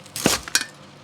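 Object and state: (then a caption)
Crispy deep-fried pork belly. A double-fried, rested Hakka deep-fried pork belly is tapped on its crust, giving sharp, bright crackling clicks with a crisp, high-pitched snap and little ring. The crust sounds very crispy.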